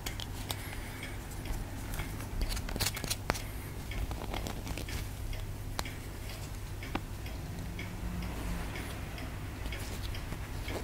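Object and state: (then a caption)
Plaster dig block being scraped. A palm-sized solid white plaster block from a dinosaur dig kit is held in one hand and scraped and picked at with a pointed wooden stick held in the other. Soft, dry scratching and small sharp ticks repeat over a steady low hum. A few brighter clicks stand out along the way.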